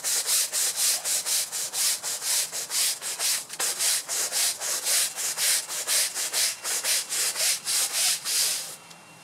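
A long-handled bristle brush scrubs the surface of a wet, muddy, large grey and red patterned synthetic fiber rug lying on a concrete floor. It makes a steady series of bright, hissing rubbing strokes at about two per second. The scrubbing stops just before the end, leaving a faint quiet tail.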